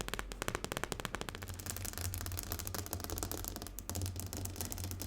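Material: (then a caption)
Glass. Fingernails tap rapidly on a glass tabletop. The first second brings a quick run of separate, crisp clicks, which then blur into a fast, continuous rattling patter over a steady low hum.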